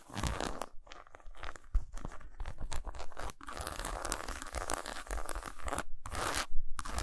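Fingernails scratch across the squares and grooves of a solid milk chocolate bar lying lengthwise on a towel. The sound is a dense run of dry, crunchy scraping bursts with short gaps, weighted toward low thumpy tones, and each scratch stops almost at once.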